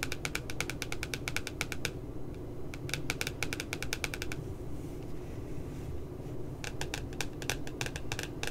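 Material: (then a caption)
Paper. Long nails tap rapidly along the left side of the glossy paper cover of a pink spiral notebook with a puppy design. Three bursts of crisp, bright, dry clicks come at the start, around three to four seconds, and near the end, with quiet gaps in between. A steady low rumble runs underneath throughout.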